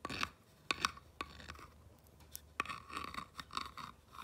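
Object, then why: Small painted wooden plank sign. A clear rod tool scratches and traces across a small whitewashed wooden pallet-style plank sign with black lettering, resting on a fabric cushion, running over the textured wood and the grooves between the planks. It makes short, dry scraping strokes and quick sharp ticks with a bright, crisp edge centered around 1.1 kHz and almost no low end, separated by quiet pauses.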